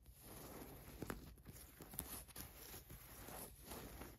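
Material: Cotton fleece.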